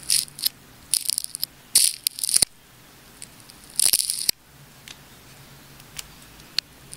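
A small craft blade scrapes and slices along the wound layers of a clear plastic tape ball with dark spots, held in the hand. Bright, crackly bursts of crinkling and snapping come in short clusters with quiet pauses between, ending with a few sparse ticks.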